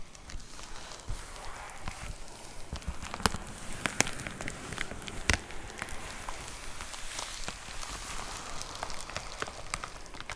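Long nails tap rapidly on a white plastic poly mailer envelope with a box inside, making quick, crinkly clicks over a soft rustling background. The taps are irregular, with a few sharper, brighter ticks standing out.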